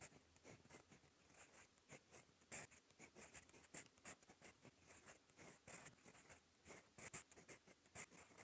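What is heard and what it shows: A gold metal fountain pen nib scratches across a cream lined paper notebook page while writing. The sound is a quiet, bright, dry scratching made of many short strokes and taps, with little low end.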